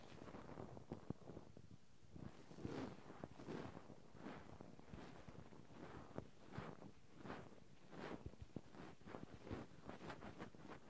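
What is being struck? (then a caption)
Metal mesh microphone grille rubbed with cotton swabs. Two cotton swabs, one in each hand, rub and scratch continuously over the metal mesh microphone grilles of a Zoom handheld recorder. The close, muffled scraping comes in repeated soft swells with a heavy low-end rumble and occasional brighter scratchy bursts.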